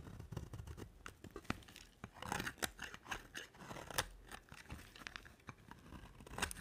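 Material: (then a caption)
Soap. A hand with long nails holds a solid white bar of dry soap with a dark coated edge and shaves it with a box-cutter blade. Quick, dry scraping and crisp crunching cuts come in a steady, uneven stream of short strokes, each with a bright edge and almost no ring.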